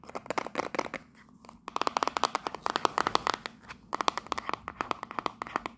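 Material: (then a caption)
Cardboard. A small, hollow printed cardboard souvenir box with a Union Jack print is held in the hand and tapped and scratched with long pink nails. About 37 quick, dry clicks and scratchy strokes come in bursts, centred around 1 kHz with bright edges. Brief quieter pauses fall near 1 to 1.6 seconds and again just before 4 seconds, and each hit stops instantly with no ring.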